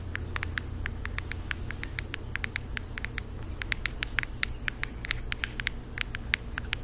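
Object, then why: Cardboard eyeshadow palette. Long acrylic nails tap rapidly on a flat, rectangular cardboard eyeshadow palette with a printed floral cover, held in both hands. Dozens of sharp, dry clicks with no ring land in an uneven rhythm, centred around 2 kHz with bright edges, over a steady low rumbling hum.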